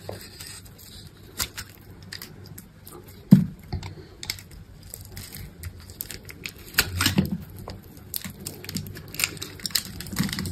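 A hand-held solid green bar of dry soap with a red coating is grid-cut and scraped into cubes with a metal utility knife blade. Dry, crumbly scraping and crinkling crackles run throughout, broken by short, bright clicks and a few louder, sharper cuts. Each sound dies away almost instantly.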